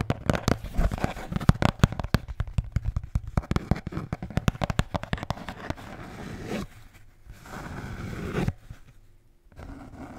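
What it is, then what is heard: Beer can holder. A blue Bintang beer can holder is tapped rapidly for about six seconds, giving dense, dull, low-pitched knocks with very short ring. Then come steadier scratching passes and a softer stretch of light rubbing at the end.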